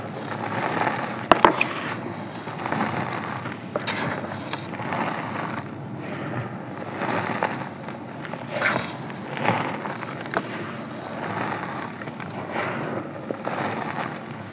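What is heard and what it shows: Bare hands press into a large mound of blue-dyed calcium carbonate gym chalk powder, scooping and squeezing clumps so they crumble. Soft, dry crunching and gritty crackling swell and fade in repeated waves, with a few sharp clicks near the start.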